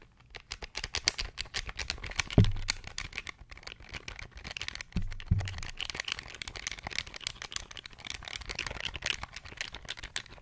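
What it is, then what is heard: Plastic pocket calculator. A small beige plastic pocket calculator is held in the hands while its buttons are pressed quickly with the fingertips. A fast, steady run of bright, clicky plastic taps is heard, with a couple of heavier low thumps near 2.4 and 5 seconds.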